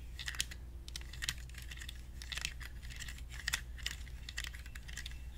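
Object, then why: Small plastic toy cactus in a plastic pot. Fingernails tap on the orange plastic pot of a small, hollow plastic toy cactus held in both hands. The taps are quick, dry and clicky, like typing on a keyboard, with bright, brief snaps that stop almost instantly. A steady low hum sits underneath.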